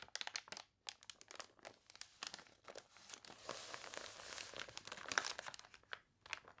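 Long nails scratch and rub the wavy, glossy pages of a water-warped paper toy catalog, then turn a page. The result is a run of bright, crisp crinkles and scratchy ticks, with a louder, steadier rustle in the middle as the page turns.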